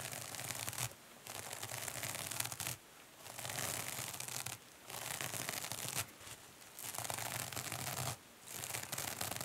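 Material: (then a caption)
Foam, metal. Long nails scratch a two-sided kitchen sponge held in the hand, first its green foam side and then its silver metallic scouring-pad side, a material both solid and porous. Six bursts of dense, bright, rasping scratching are heard, separated by short quiet pauses, with a faint low hum underneath.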